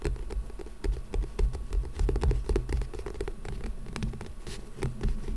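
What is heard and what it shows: A small old book with a printed orange paper-and-card cover lies solid in front of the microphone and is scratched and tapped with the fingertips and nails of both hands. The result is a dense, irregular patter of dry scratches and soft, muffled taps, about four per second, mostly low and thumpy, with each tap dying away almost instantly.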